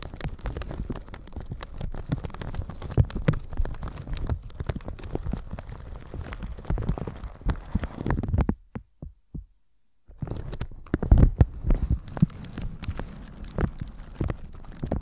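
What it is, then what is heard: Plastic shower cap brushed over a microphone. A flat red-bristle brush with a white handle is brushed over a plastic shower cap stretched across a microphone. It makes a dense, steady run of low, muffled scratching and crinkly thumps. Around the ninth second the sound drops almost to silence, with a few soft taps, then the brushing picks back up with some louder strokes.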